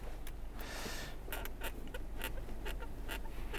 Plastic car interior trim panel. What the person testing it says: See how the panel is squeaky For now, you hear this when I shake it with my hands